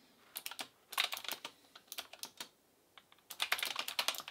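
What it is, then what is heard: Plastic mechanical keyboard being typed on. An Asus ROG Claymore II full-size gaming keyboard with plastic keycaps, a metal plate and clicky RX Blue switches is typed on with the fingertips of both hands. Around 22 sharp, bright clicks come in quick bursts separated by short pauses. The strikes are crisp with almost no low end and die away almost instantly.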